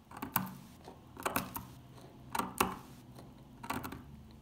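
A metal pick digs into the dry surface of an old, solid dark green soap bar, lifting flakes. Sharp, dry crunching clicks come in small clusters, each with a bright crackle and a brief low thud that fades almost at once, between near-quiet gaps.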